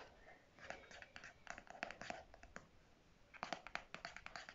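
Fingernails tap and scratch the hard clear or white plastic flip cap on the end of a pink conditioner squeeze tube held in the hand. Quick, dry, bright clicks come in two dense clusters, with soft scratching between them and almost no ring after each tap.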